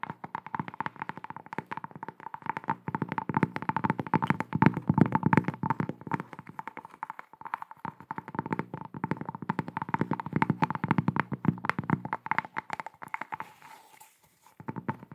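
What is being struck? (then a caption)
Thin cork coaster. Long acrylic nails rapidly tap and scratch a thin square cork coaster with a barcode sticker. The result is a dense stream of dull, short clicks and scrapes with no ring, mostly low and mid in tone, swelling and fading in bursts before a brief pause near the end.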